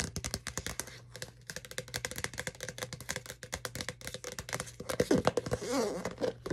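Long nails tap rapidly and unevenly on the wall of a clear plastic Starbucks cold cup with a lid and green straw, partly filled with a red drink. The taps are short, crisp plastic clicks over a steady low hum. Toward the end they give way to louder scratching with a wavering, hollow tone.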